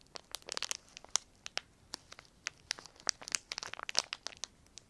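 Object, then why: Semi-thick clear plastic film. A crumpled piece of semi-thick clear plastic film is squeezed and crinkled with the fingertips of both hands. It gives a rapid, irregular stream of sharp, bright crackles and crinkles with almost no low end, each snap dying away instantly.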